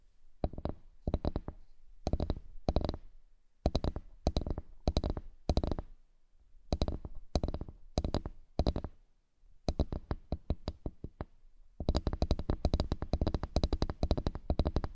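Long nails tap the surface of a large, flat, solid bamboo cutting board, making quick, dry clicking taps with a low woody thump. The taps come in short rapid bursts separated by pauses, then build into a dense, continuous flurry of tapping toward the end.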